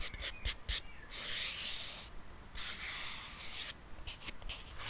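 Fingertips and nails tap and scratch the rim and sides of a small, hollow, round silver metal tin with its lid partly open, held close to the mic. A few sharp, light taps open the clip, followed by longer bright, hissing scratches across the metal. More quick taps and scrapes close it out.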